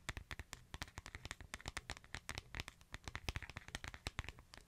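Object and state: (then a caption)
Smartphone with glass screen. Fingertips tap and scratch the white/silver back and edges of a smartphone with a glass screen. About 32 quick, dry taps are heard, each with a low thump and a bright click that dies away almost instantly, over a faint scratchy rustle.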